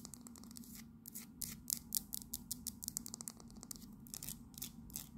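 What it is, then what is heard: Small resin fridge magnet. A small solid resin Houses of Parliament fridge magnet is turned over, and its base and back are tapped and scratched with long nails. Quick, bright clicks and dry scratching strokes come in uneven bursts over a faint, steady low hum.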